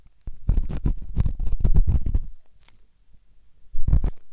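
A flat-tipped stainless steel ear pick, held in the fingertips, slowly scrapes and scratches the inner ear area of a white, soft, rubbery silicone ear-shaped microphone. A dense run of deep, muffled thumping scrapes fills the first two and a half seconds, then quiets. A final short burst of scratching follows near the end.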